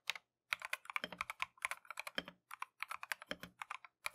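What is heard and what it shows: A compact Keychron V1 mechanical keyboard with Tangerine switches and green-and-white Matcha plastic keycaps is typed on continuously with gloved fingertips. Quick, bright, dry key clacks come in rapid bursts separated by brief pauses.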